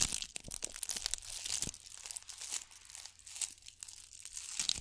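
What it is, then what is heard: Bead-covered ball scratched with nails. A gold bugle-bead covered ball is held in both hands and scratched and squeezed with long nails. The result is a dense, bright crinkling and rattling of many small clicks, with faint low hum underneath and no lingering ring.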